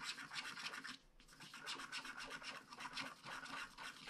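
A wooden stylus scratches cloud swirls and a star into a flat paper scratch-art card with a black coating. Quiet, bright, dry scratching comes in quick, uneven strokes, with a brief lull around the one-second mark before the strokes resume.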